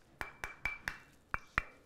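A heavy, solid, brick-red rectangular brick with six sides, made of a porous bonding material, is held up and banged six times. Each bang is a short, hard knock with a bright woody click near 1.8 kHz that dies away almost at once.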